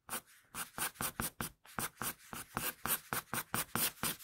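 A wooden pencil draws quick, scratching hair strokes across a flat sheet of drawing paper, making 17 short, separate scratches. Each stroke is a bright, papery scrape with little low end that stops quickly before the next one begins.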